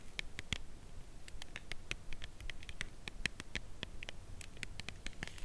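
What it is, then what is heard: Cardboard chocolate box, nail tapping. Long nails tap and scratch along the side edge of a full cardboard chocolate bar box held horizontally. The result is a quiet, steady run of crisp, dry clicks centered near 2 kHz with bright tips, mixed with soft scratching over a low rumble. Each tap stops at once with no ring.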